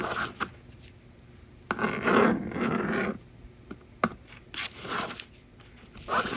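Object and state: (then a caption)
Plastic magnetic drawing board. A yellow plastic stylus scratches and writes across the honeycomb screen of a small, hollow blue and pink plastic magnetic drawing board lying flat on a table, while the other hand holds the slider. Short dry scratching strokes and taps alternate with longer raspy scribbles, separated by near-silent pauses.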